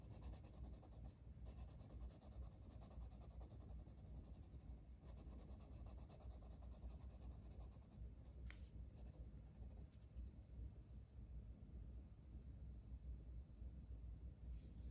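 A red wooden colored pencil is rubbed over a flat paper coloring book page in small strokes. Its lead makes a soft, continuous scratchy rasping against the paper. The sound is quiet and low-heavy, with uneven stroke rhythm and a brief brighter scrape near the middle.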